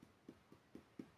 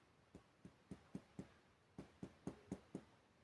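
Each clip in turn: First: Five soft, low finger taps on the belly, hollow-sounding but muffled rather than drum-like. Second: Ten soft, low finger taps on the upper belly give a clear, hollow, drum-like note over the gas-filled stomach.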